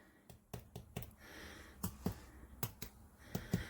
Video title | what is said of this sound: 🍀Fluffy & Fast IRISH SODA BREAD: No Yeast, No Fuss! - Quick Bread Recipe🍀 | we want to get to a consistency when you tap it, that you hear a hollow sound on the top, and then at the bottom